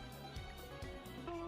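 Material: Nothing is struck.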